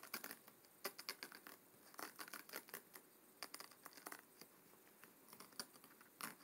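Short fingernails of both hands scratch along the stacked paper page edges at the front of a closed, thick hardcover book lying on a wooden table. The result is a quiet series of dry, bright, crackly scratches in irregular bursts, each dying away almost instantly, with almost no low end.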